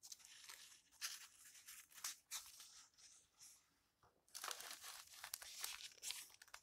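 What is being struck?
Paper book pages.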